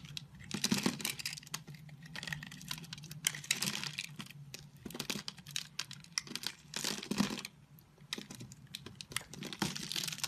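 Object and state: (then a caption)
Bar soap being carved. A solid oval multicolored bar of soap is held in the palm while its grid-scored surface is scraped and cut into cubes with a snap-off utility knife blade. Dense, bright, crisp scraping and crumbly clicks come in quick bursts with short gaps, each stroke dying away almost at once.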